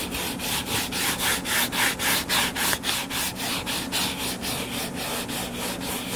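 Short fingernails scratch the cover of a closed hardcover paper book lying flat. A steady, fast series of dry, rough scratching strokes, each a short bright rasp, repeats about three to four times per second.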